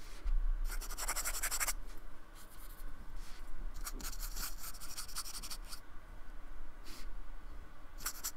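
A fine paintbrush is brushed and scratched across the textured, beaded surface of a small, flat, solid square of white-painted expanded polystyrene held by fingertips on a wooden table. Soft, dry, bright scratching strokes come in uneven bursts, some longer and some brief, over a steady low hum.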